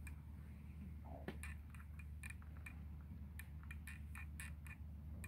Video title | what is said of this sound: The sticky Accordian Key | that sounds like wood on wood